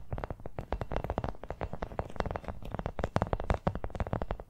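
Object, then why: Small rubber toy football. A small hollow brown rubber toy football is tapped rapidly with long nails. The result is a fast, dense stream of short, dull taps with a low, hollow thump and a bright clicky edge.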